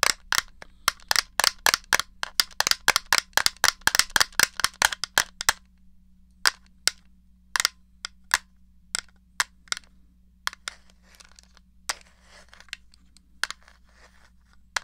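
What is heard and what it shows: Fingertips and nails click the buttons and tap the case of a small, hollow, grey plastic NES controller held upright. A quick run of sharp, bright, dry clicks for the first five seconds gives way to slower, scattered taps over a faint steady low hum.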